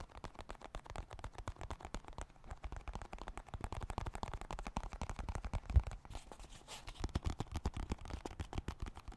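A small, dark blue, hollow plastic card deck box is held in both hands close to the mic and tapped rapidly with fingertips and nails. The result is a dense stream of short, dull, low-pitched knocks with very little ring, and one sharper, louder tap near the middle.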